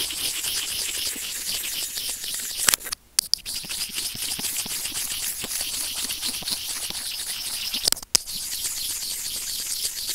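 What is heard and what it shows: White plastic tweezers gently scratch a white plastic earphone inline remote microphone resting on felt. A continuous bright, hissy crackle of fine scratching fills the clip, with almost no low end. It drops out briefly twice, with sharp clicks around each gap.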